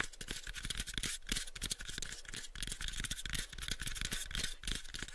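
Fingertips tap and a nail scratches on a small pale wooden cube box. Quick, irregular dry taps with soft low thumps blend with a bright, scratchy rasp. Each tap stops short with no ring.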